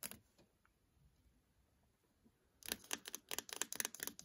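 Fingertips and nails tap and scratch the casing of a small, solid, black plastic Acer laptop power brick with a label, held in the hand. A single sharp tap is followed by nearly two seconds of faint, soft scratching, then a quick, uneven run of crisp, bright, dry plastic clicks that stop instantly with no ring.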